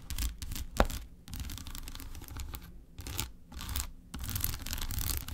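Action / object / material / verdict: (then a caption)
scrape / solid milk chocolate bar / chocolate / none. Long acrylic nails scratch and tap quickly across the segmented surface of a large unwrapped solid milk chocolate bar lying on a white paper plate. Bursts of bright, dry scratching alternate with short pauses, layered over dull low thuds, with one sharp tap standing out near the start.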